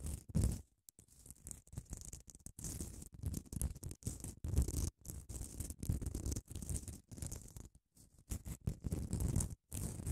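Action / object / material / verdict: scrape / padded emery nail file scratched by long nails / emery / none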